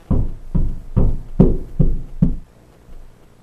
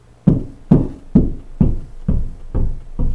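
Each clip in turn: First: Six low, dull thuds on drywall, the later ones tighter and sharper where a stud backs the wall. Second: Seven soft, low knocks with a deep, booming body: hollow drywall with no stud behind it.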